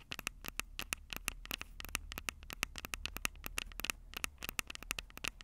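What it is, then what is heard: Metal mic capsules on a handheld recorder being tapped and scratched. Long purple nails scratch and tap the silver metal mic capsules of a Tascam DR-05 handheld audio recorder. Dozens of quick, sharp, bright clicks come in an uneven patter over a faint low hum, each dying away almost instantly.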